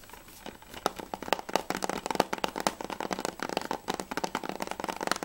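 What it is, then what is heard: Plastic game case. Fingernails and fingertips tap fast on the back surface of a closed, hard plastic PS3 game case with a Spec Ops back cover, held upright. A quick run of sharp, dry clicks and ticks, centered in the mid-range with bright edges, each dying almost instantly, with a light crinkly texture between them.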